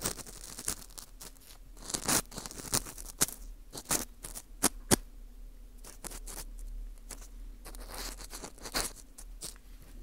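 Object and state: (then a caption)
Dried wheat gluten ring scraped. An orange plastic earpick scrapes inside the hole of a porous dried wheat gluten ring (fu) held in gloved hands. Bright, dry scratching and crunching come in scattered sharp bursts over a faint, steady low hum.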